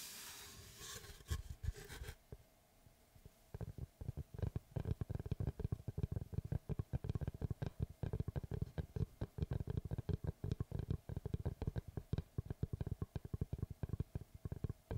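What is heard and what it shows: Fingertips scratch and tap the flat face of a large, round, solid wood slice with a bark edge, held upright close to the microphone. A brief bright, rasping scratch gives way to a short pause, then a long run of rapid, dull, low-pitched taps with almost no ring.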